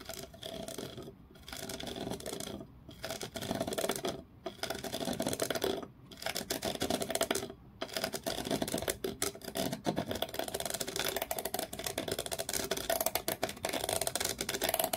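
Long fingernails scratch and tap a small solid wooden block with a ridged, grooved surface held in both hands. Dense, rapid rasping scratches come in bursts, separated by short pauses, with a dry, woody midrange tone and bright edges. There are dense clicks and taps, and the sound stays close and short-ringing throughout.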